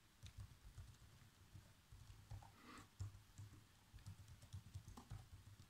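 Fingertips with short nails type fast across the keys of a black plastic chiclet laptop keyboard. Quick, soft taps with low thuds and brief bright clicks patter unevenly, each dying away almost at once.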